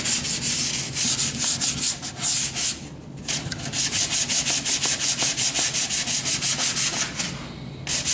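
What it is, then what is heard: Wooden board being hand-sanded. A long, solid, unfinished stud-like wooden board is held upright and rubbed up and down with a hand-held sheet of sandpaper. Steady, rhythmic strokes make a bright, raspy scratching that briefly pauses twice before the sanding resumes.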